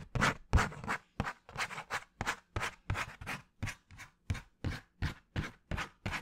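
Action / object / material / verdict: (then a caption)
scrape / cardboard sheet / cardboard / none. A flat piece of brown cardboard, held near the head, is scratched and tapped with fingernails. Short, rough scratching bursts with a dull low thump repeat about three times a second at an uneven pace, each fading quickly into brief silence.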